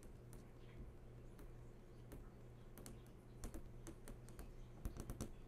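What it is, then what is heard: Flat-screen TV panel. Long fingernails tap on the hard screen of a large, switched-on flat-screen TV, making quick, dry clicks that sound much like typing on a keyboard. The taps are sparse at first and grow quicker and louder toward the end, over a steady low hum.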